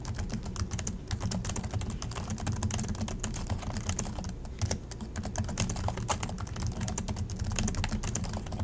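Both hands type continuously with their fingertips on the plastic chiclet keys of an Acer laptop. A rapid, unbroken stream of short, bright clicks and taps sits over a steady low rumble, with one slightly louder cluster of keystrokes near the middle.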